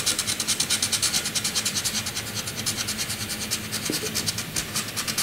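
A graphite pencil tip scratches across a flat white drawing paper sheet, first hatching and then a tight zigzag scribble line. Rapid, bright, papery scraping strokes repeat at roughly two to three per second, with a faint low hum underneath.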